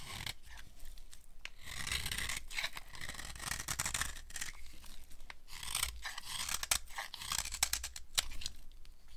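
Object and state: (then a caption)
Dry soap bar being scraped. A metal blade scrapes and carves the edges of a dry, solid cream-white soap bar with silver paint remnants and an embossed logo. Continuous, crunchy, bright rasping is heard, broken by sharp crackling snaps as flakes break away.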